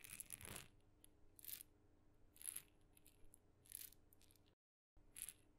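A tiny red wooden maraca with blue dots, a glossy painted hollow head holding loose filling, and a light wooden handle is held by the handle in the fingertips and shaken beside the microphone. Five short, soft bursts of bright, dry rattling are heard over a low hum, with a brief complete silence just before the last shake.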